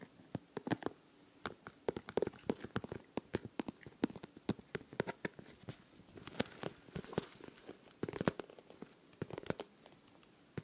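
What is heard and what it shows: A pink transparent plastic pencil case filled with liquid and glitter is held against the microphone and tapped and scratched with fingernails. Dense, rapid clicks and crackly taps sound throughout, each dying away almost instantly over a quiet background.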